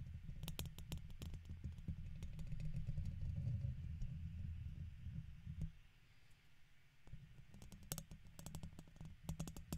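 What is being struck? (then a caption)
Metal mesh microphone grille scratched with a plastic pick. A red plastic guitar pick scratches across the side of the hollow domed metal mesh head of a silver microphone. The result is a dense, low rumbling scrape packed with rapid, irregular sharp bright clicks. It eases into a quieter stretch near the middle before the scratching and clicking pick back up.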